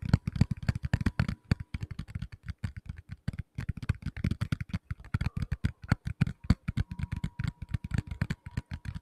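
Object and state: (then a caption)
Tablet in plastic case. A medium-size black tablet in a plastic case is tapped rapidly with fingertips on its back, giving a dense, uneven run of dull, low, muffled thuds. Each tap dies away almost instantly, with a faint steady tone running underneath.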